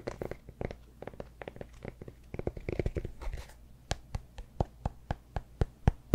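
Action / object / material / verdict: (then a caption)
scrape / cork yoga block / cork / none. Fingernails scratch the top and edges of a solid cork yoga block held behind the mic, making quick, dry, rustling scrapes in uneven bursts. The sound then settles into about ten evenly spaced, short, crisp ticks, all soft and dull with little ring.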